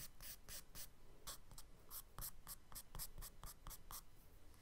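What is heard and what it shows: A charcoal stick scratches repeated textured strokes across a brown kraft paper sketchbook page lying flat. The result is a quiet, rapid series of dry, bright, scratchy strokes over a faint low rumble.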